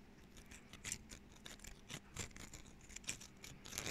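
A small dry pine cone with woody scales is held in both hands while fingernails scratch and pluck at the scales and the cone is rotated between the fingers. The result is a quiet series of crisp, bright clicks and scratchy rustles that die away quickly, over a faint low hum.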